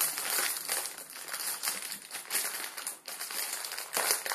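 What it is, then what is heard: Crinkly plastic noodle packet. A palm-sized Maruchan chicken ramen packet of crinkly plastic film, full of dry noodles, rests on a wooden table, sitting untouched at first before fingertips squeeze and crinkle it. Bright, high crackling and crinkling rises and falls in bursts, with almost no low end.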